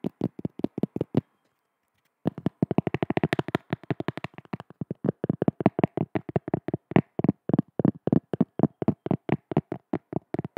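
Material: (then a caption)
Cork. A cork object is tapped by hand in quick, steady bursts of short, dry, muted knocks with almost no ring. A brief pause about a second in breaks the run before the soft, low tapping resumes and continues to the end.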